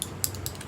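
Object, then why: Tube of liquid lip colour with a small mixing ball. A tube of plum liquid lip color is shaken, and a small mixing ball inside rattles to blend the formula. Several short, bright clicks sound over the steady low hum of a running fan.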